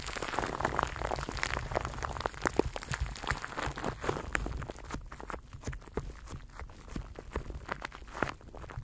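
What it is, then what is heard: Plastic cling wrap crinkled on a microphone. Fingers rub and crinkle clear plastic cling film wrapped around a microphone cupped in both hands. The result is a dense, continuous run of close crackles and sharp bright snaps over a low rumbling rustle, growing sparser and more clicky in the second half.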